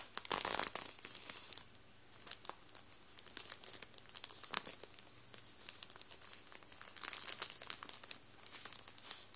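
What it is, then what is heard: Plastic bread roll bag being crinkled. Fingertips rub and squeeze the plastic of a full Warburtons bread roll bag over the rolls inside, crinkling it. Bright, crisp crackles come in irregular bursts, with louder flurries near the start and around the seven-second mark and quieter rustling between them. Each crinkle stops almost instantly, with very little low end.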